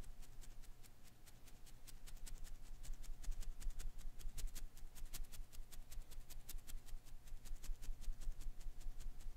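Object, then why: Rubber filament Koosh ball. A palm-sized blue and green Koosh ball of thin rubber filaments is held in one hand while fingertips flick and scratch through its strands. The result is a rapid, uneven series of soft, dry crackling ticks, about two to three per second, over a low steady hum and a faint constant tone.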